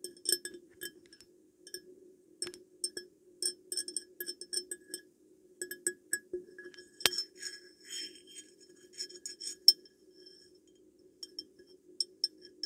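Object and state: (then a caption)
Glass perfume bottle. Glass perfume bottle being tapped, producing a series of light, bright glass clinks and taps with quick decay. The taps come in irregular clusters over about 13 seconds, with a steady faint tone near 350 Hz underneath and one sharper knock partway through.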